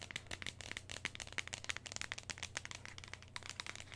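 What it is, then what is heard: Plastic lotion bottle. Long nails quickly tap and scratch a medium, hollow white and orange plastic lotion bottle held in the hands. The result is a dense stream of sharp, bright clicks and scratchy crinkling with very short decay, over a faint steady low hum.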